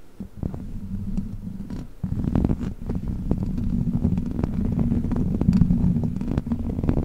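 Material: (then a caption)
Metal mesh. Long black plastic witch-finger claws scratch the hollow metal mesh grille of a large silver microphone. The result is a dense, low, rumbling scrape broken by quick crackling ticks, and it grows louder and fuller after the first two seconds.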